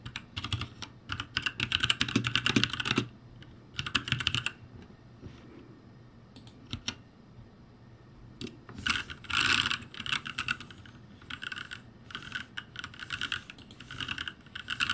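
Fingertips type on the letter keys of a backlit ROCCAT G65 mechanical keyboard with plastic keycaps. Bursts of rapid, bright clicking keystrokes alternate with quieter gaps of sparse taps, and each key click is short and dry.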